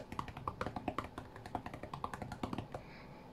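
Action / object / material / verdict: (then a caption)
tap / glass tablet touchscreen / glass / none. Fingertips of both hands tap rapidly on the glass touchscreen of an iPad tablet lying flat on a cutting mat. The result is a quick, uneven run of short, dry taps with clicky mid tones and a soft low thump, each dying away almost at once.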